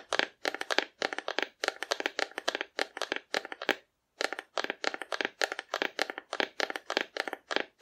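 Long nails tap rapidly on a hollow, painted cardboard dinosaur figure held horizontally, producing quick clusters of dry, crisp, papery clicks with a slight hollow tone and almost no ring. The tapping runs in steady bursts, pausing briefly near the middle before resuming at the same brisk pace.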